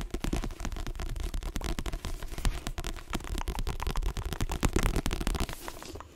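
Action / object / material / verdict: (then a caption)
tap / paperback book with glossy cover / paper / none. Fingernails tap rapidly on the pages and glossy cover of a paperback book as it is opened and then closed. The sound is a fast, dense run of short, dry clicks with a heavy low-end thump and little high-end brightness. The tapping stays steady throughout, easing off near the end.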